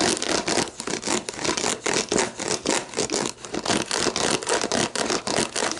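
Long black nails scratch the ridged base of an empty, hollow clear plastic sports drink bottle standing upright, then tap and scratch its label and lower ridges. The result is a dense, uneven stream of quick, bright, crackly scratches and light taps, with little low end and short, dry decays.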